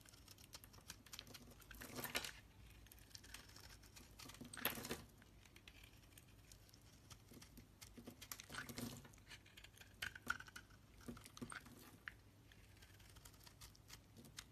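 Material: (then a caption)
Soap. A solid green rectangular bar of soap, held in the hand, is shaved into curls with a metal utility knife blade. Soft, irregular scraping and crisp crackling run throughout, with a few longer, louder bright scrapes standing out around 2, 4.7 and 9 seconds. Each ends dry and short, with no ring.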